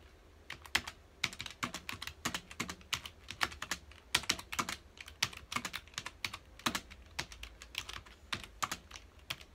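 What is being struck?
Plastic computer keyboard.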